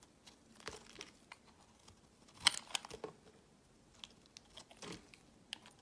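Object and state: Bar soap being carved.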